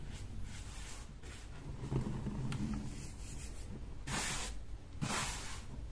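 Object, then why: Dyed baking soda powder. Bare hands and fingertips squeeze, crumble and rub a loose heap of peach-colored dyed baking soda powder on a marble-look surface, with no container. A steady, soft, gritty rubbing hiss runs throughout, with low crunchy squeezes, and two brighter, louder rushes of friction swell near the end.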